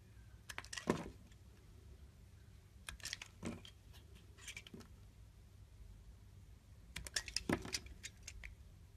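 A solid green bar of soap with a leaf imprint is held in the hand while a utility knife scrapes and slices across its surface. Short, crisp scratching bursts come in clusters with quiet pauses between them. The sounds are bright and dry over a low background hum.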